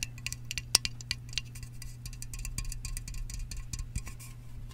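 Fingertips and nails tap and scratch the top rim and side of a hollow Sparkling Ice aluminum drink can, fill level not visible, before the can is held up. Quick, bright metallic ticks and short scratches ring out high over a steady low hum, loudest early on and then settling into softer, denser scraping.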